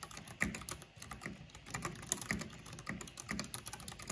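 Fingertips and long painted nails type fast on the keycaps of a full-size black plastic mechanical computer keyboard with purple RGB backlighting. The result is a steady run of crisp, bright clacks with short dull thuds beneath, each tap dying away almost at once.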